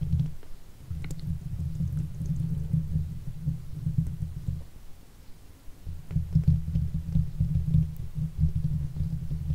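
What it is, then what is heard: Metal mesh microphone grille being scratched. Fingers and the backs of nails rub and scratch the hollow steel mesh grille of a silver Blue Yeti microphone, producing a dense, deep rumbling scrape with faint crackles above it. The scratching thins out around the middle, then returns louder and busier toward the end.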